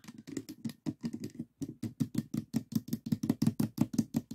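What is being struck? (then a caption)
Small plastic puzzle cube. Fingertips and nails tap on the top and side faces of a small stickerless plastic 3x3 Rubik's cube with a hollow mechanism. About two dozen quiet, dull, hollow taps come in a quick, uneven patter, each dying away almost instantly, with a low-mid body and faint bright clicks from the nails.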